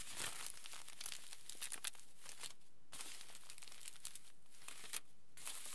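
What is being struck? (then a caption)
Crumpled aluminium foil sheet. Fingertips rub and scratch across the surface of a large, crumpled aluminium foil sheet lying flat. The result is a quiet, steady stream of bright, crisp crinkling and crackling, broken by brief pauses near the middle and near the end.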